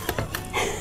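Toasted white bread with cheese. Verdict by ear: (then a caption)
Crisp. Toasted white bread with cheese, just out of the oven after 5–10 minutes at 200 °C, gives four short, dry crunches with bright crackle and a low thud underneath. The crisp sound shows the cheese toast is crunchy and baked through.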